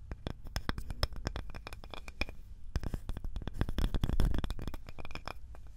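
A small, light, solid wooden cutting board with a handle is scratched and tapped with long nails. The result is a fast, irregular stream of dry, short clicks and scrapes with a dull low body and brief bright ticks that die away almost at once.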